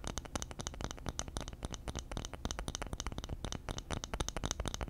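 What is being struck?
Round flat bamboo lid.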